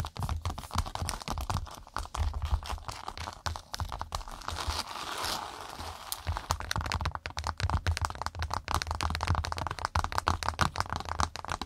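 Long nails rapidly tap and scratch a cork pot mat. The result is a dense run of dry, crackling clicks and rough scraping, with a low thudding rumble underneath and a brief softer patch of scratching around the middle.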